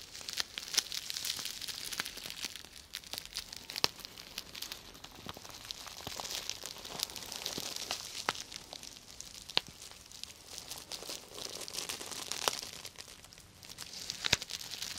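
Long nails and fingertips scratch and brush the plastic sequins of a medium, flat, purple sequin-covered fabric cosmetic bag, soft and hollow, held in both hands close to the mic. The result is a steady, bright, crinkly rustle with almost no low end, dotted with many quick, sharp clicks that vanish instantly and swell in waves over the clip.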